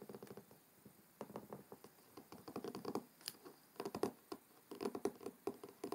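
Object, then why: Cloth-covered hardcover book. Fingertips and short nails of both hands tap on the front cover of a large, solid, closed hardcover book with a dark blue cloth-covered board cover, lying on a wooden table. Quiet, dull, hollow taps with a mid-range body and light clicky nail edges come in quick irregular bursts separated by brief pauses. Each tap dies away almost at once.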